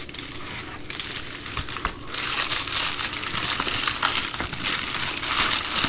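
A plastic bubble mailer envelope is held and crumpled in both hands, then folded on the table, as fingers crinkle and squeeze the bubbled plastic. The result is a dense, continuous, bright crinkling and crackling with little low end, growing louder and busier after the first two seconds.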